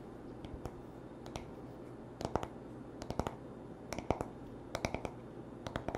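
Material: Wood.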